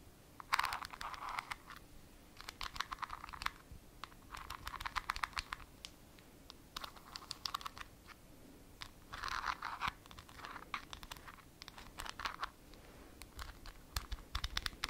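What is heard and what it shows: Long nails scratch the top and rim of a ridged white plastic lid on a small, filled glass jar. Repeated bursts of dry, raspy scratching center around the midrange with bright edges, broken up by sharp little clicks and brief pauses between strokes.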